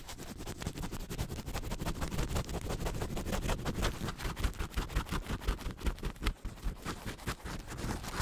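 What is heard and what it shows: A thin white paper tissue held beside the microphone is crumpled and rubbed with fingertips and nails. The result is a fast, uneven stream of crackling, rustling bursts with a heavy low-end thump from the close contact, growing into sharper, more distinct crinkles midway through.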